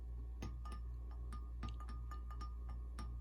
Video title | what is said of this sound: Custom Neko Weights and Ned Heads | you can hear that weight tapping off the bottom